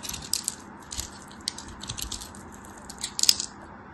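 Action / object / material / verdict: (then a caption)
scrape / bar of soap / soap / none. A craft knife slices scored cubes off a solid yellow soap bar held in hand, and the cubes crumble as they are cut and crushed. Crisp, bright crackling snaps and scrapes come in short, dry bursts with almost no low end, ending on a sharper crunch near the end.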